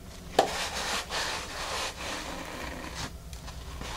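Long nails on both hands scratch across the porous surface of a large, flat, dark grey solid foam mat, making a soft, dry rasping that swells and fades in broad, bright strokes. A sharp tap stands out near the start, and the hands lift briefly above the mat at the end.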